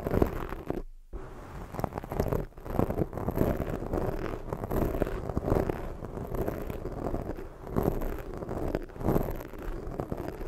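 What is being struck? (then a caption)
Foam microphone windscreen. Long fake nails scratch and rub a black foam microphone windscreen, making a dense, muffled crackling rustle weighted toward the low end. The scratching runs almost continuously, with a brief silent gap near the one-second mark and small dips as the strokes change pace.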